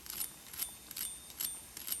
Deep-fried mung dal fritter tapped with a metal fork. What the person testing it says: bu vadaların çıtır çıtır sesini duyabilirsiniz